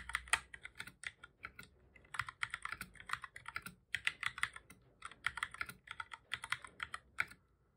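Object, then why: Plastic computer keyboard. Fingertips of both hands type on a black full-size plastic computer keyboard, making rapid, repeated key presses. The clicks are bright and clacky, centered around 2 kHz with almost no low end, and each one dies away almost instantly. They come in quick bursts separated by short pauses, and there is no talking.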